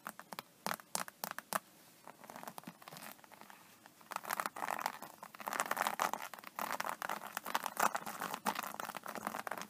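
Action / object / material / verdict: scrape / embossed vinyl tablet case / vinyl / none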